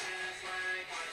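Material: Nothing is struck.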